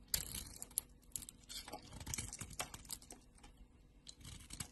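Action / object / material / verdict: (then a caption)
scrape / solid soap bar cut with a knife blade / soap / none. A green and purple solid bar of soap, held in a hand with long nails, is sliced and scraped with a utility knife blade. The result is a run of quiet, crisp, bright scraping and crackling strokes, with short sharp clicks scattered between them.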